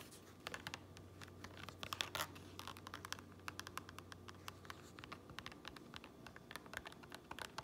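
Fingernails scratch and tap the grey lining with printed seam tape inside a black fabric cap, producing many quick, dry, bright ticks over a soft, papery scratching bed. A faint low hum runs underneath for the first five seconds, and the whole clip stays quiet.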